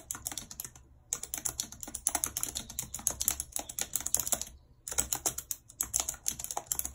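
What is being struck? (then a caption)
Plastic computer keyboard. Long red acrylic nails type and tap on the hollow keys of a full-size white plastic computer keyboard with a numpad, lying on a world map. Rapid, bright, clicky keystrokes come in bursts, with two brief pauses near 1 and 4.7 seconds, and each tap dies away almost instantly.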